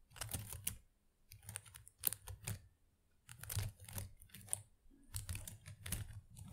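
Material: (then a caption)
Plastic. Long acrylic nails scratch through the small plastic leaves of an artificial potted plant. The result is quiet bursts of crisp, clicky rustling with short pauses between them, bright at the top with a soft low thump underneath.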